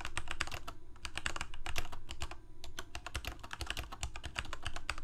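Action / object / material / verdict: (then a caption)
tap / plastic mechanical keyboard / plastic / none. Fingertips of both hands type continuously on a full-size black plastic Corsair K68 gaming keyboard with backlit keycaps, Cherry MX Red switches and a hollow plastic case. The result is a dense run of quick, dry key clicks with bright ticks over a deep, hollow low thud.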